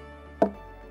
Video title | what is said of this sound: Jamaica Magazine 26/06/2020 | When you knock it like this with a stone, it gives you sound. Why it gave you that sound? Because it's hollow inside.